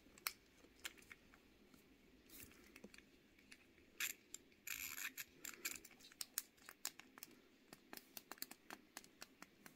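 A small pink plastic fidget cube held in one hand is rapidly clicked by fingertips and nails working its buttons and switches. The result is a quiet, irregular run of many sharp, bright plastic clicks with almost no low end. A brief rustly burst sounds in the middle.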